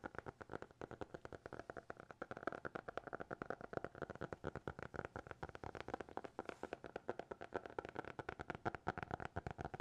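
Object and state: Hardcover notebook.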